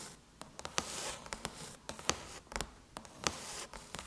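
Long chrome nails tap and scratch around the Apple logo on a closed silver aluminum MacBook lid. About fourteen sharp, bright clicks come in an uneven rhythm, each dying almost instantly. Soft, hissy scratching fills the gaps between them.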